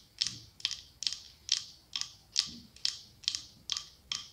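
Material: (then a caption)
Glass. Long acrylic nails tap and scratch the side of a medium cylindrical glass candle holder decorated with autumn leaves, with a candle inside. Ten quick, bright, clicky taps land at a steady pace, each fading almost instantly, with nearly all the sound sitting in the high range.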